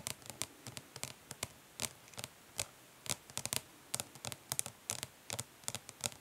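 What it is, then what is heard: Plastic makeup palette. Long nails tap and lightly scratch the lid of a flat, hollow plastic eyeshadow palette resting on cloth. About 27 quick, bright, dry clicks come in uneven bursts, with soft scratching between them. Each click dies away almost instantly over a quiet background.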